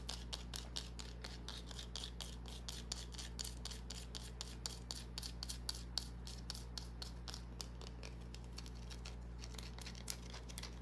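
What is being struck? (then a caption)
Small bar of soap. A small solid green bar of soap, held in the palm, is scratched and rubbed with long nails, making a quick, steady run of dry, bright scratches and clicks. They sit over a constant low hum and stop dead with no ring.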